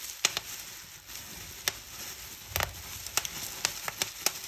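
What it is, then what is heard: Plastic bubble wrap popping. Fingertips and long nails pinch and pop the air bubbles on a clear plastic bubble wrap sheet. Eleven sharp, bright snaps cut through a steady, hissy crinkle of plastic, with a quick cluster of pops in the middle. Each pop dies away almost instantly.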